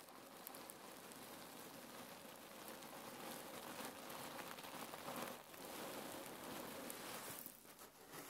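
Fingertips with long nails press and squeeze a long red patterned cotton neck warmer pillow filled with cherry pits, lying on a wooden table. The pits shift with a dense, continuous rustling and crackling, like rain on a surface, that holds steady with brief dips near 5.4 and 7.8 seconds.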